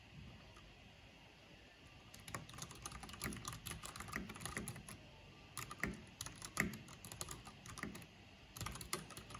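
Fingertips with long painted nails type fast with both hands on a backlit mechanical keyboard with black plastic keycaps. After about two seconds of near-quiet, dense bursts of sharp, bright key clicks with a low thocky body come in, broken by brief pauses before a final flurry.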